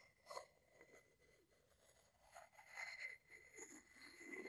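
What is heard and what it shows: A wooden pestle is scraped along the side of a hollow wooden mortar held in one hand. The result is a quiet, bright, rasping scrape with a faint steady tone near 2 kHz, swelling louder twice over several seconds with little low-end body.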